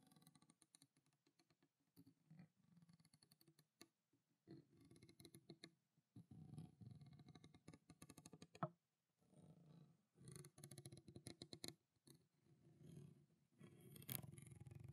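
Long black-painted nails tap rapidly on a small clear PET plastic water bottle, partly filled with water, with a blue plastic cap and a character label. Quiet bursts of dense clicky taps have a hollow, low plastic body. The taps die away almost instantly, with brief pauses between flurries.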